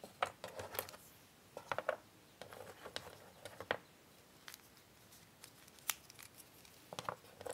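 Fingertips and long nails pick up, flip and slide small, thin, solid cardboard jigsaw puzzle pieces scattered on a grey puzzle board. Quick, dry clicks and soft scrapes come in irregular bursts with no ring between them, at a low overall level.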